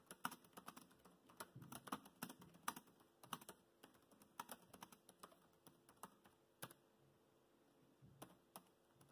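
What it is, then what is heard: Plastic laptop keyboard. Fingertips type fast on a laptop keyboard with black plastic keys, producing a quick, irregular stream of light, dry clicks. Each keystroke is brief and bright with almost no ring, and a few taps land louder than the rest against a quiet background.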